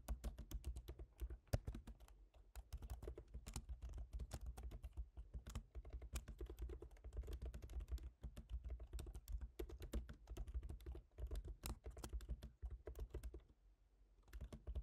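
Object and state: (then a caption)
Laptop keyboard being typed on. Fast fingertip typing with both hands on the plastic keys of a silver aluminium MacBook Pro laptop keyboard. Dense, short clicky taps with a low thud underneath run almost continuously, dropping briefly quiet near the end before resuming.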